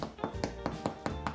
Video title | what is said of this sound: Bread in a Bag | when it sounds hollow on the bottom. Sounds pretty good, like you're knocking on a door.